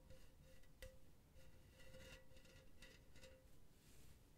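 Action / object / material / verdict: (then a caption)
scrape / empty metal mesh pen holder / metal mesh / none. Long blue nails scratch across an empty silver metal mesh pen holder held close to the mic. Quiet, gritty scratching comes in short bursts, with a faint metallic ring around 520 Hz and bright rasping edges over a low, steady background rumble.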